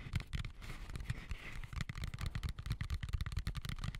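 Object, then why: Plastic colander. Fingertips tap and scratch the outside of a medium white plastic colander with slots, hollow and empty, turned upside down over the mic. A quick run of dry, muffled taps gives deep, boomy thumps that stop almost at once, with soft bright scratching in between, most noticeable early in the clip.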